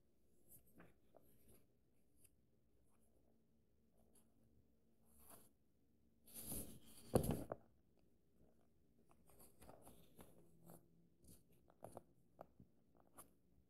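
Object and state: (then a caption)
Paperback book pages being rubbed and turned. Fingertips trace and rub along the paper pages and edges of an open paperback book, making quiet, soft scratchy rustles with faint bright hiss. Around the middle, a page is turned with a louder, brief papery flutter and crinkle. The soft tracing then continues with small light taps and brushes over a low, steady background hum.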